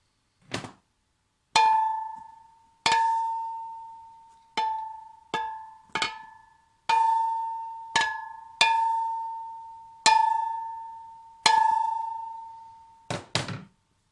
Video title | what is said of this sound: Décalaminage pot Giannelli (Part 2) | Maintenant, ça résonne, donc en fait, c'est bon signe, ça veut dire que la calamine est bien partie.